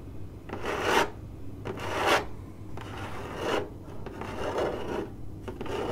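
Long acrylic nails on one hand scratch and tap a hollow, printed corrugated cardboard box. Dry, rasping strokes swell and fade one after another, bright and airy with a papery core around 900 Hz, over a faint low hum.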